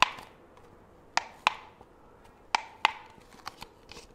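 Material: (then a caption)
Plastic. A small, white, ribbed disposable plastic cup, hollow and empty, is held in one hand near the microphone and tapped and handled with the fingertips of the other. Eight short, dry taps are heard, five loud and three softer near the end. Each has a hollow, bright click around 875 Hz with almost no ring and no low end.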